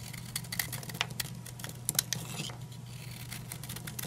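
A utility knife blade shaves and carves crumbly chunks off an old, dry, solid green oval bar of soap held in the hand. Quick, crisp scraping cuts and bright crackly snaps sound over a steady low hum, with the sharpest cuts clustering near the middle. The soap breaks away in dry, crumbly pieces.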